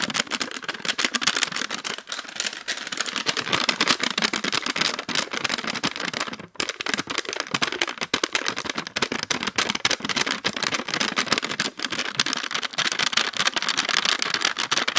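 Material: Plastic.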